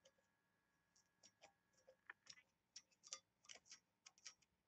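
Long nails tap and scratch the lid of a small, hollow, oval brass box, engraved and embossed, while it is held at different heights. The result is a quiet series of sharp, bright metallic ticks and short scratches with almost no low end, each dying away almost at once.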